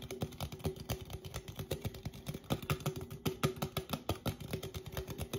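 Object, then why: Aluminum drink can. A red Coca-Cola aluminum drink can, a standard 12 oz hollow cylinder, is held upright in both hands and tapped rapidly on its sides with fingertips and painted nails. The result is a quick, uneven run of dozens of soft, dull taps, each with a brief hollow metallic ring that fades almost at once.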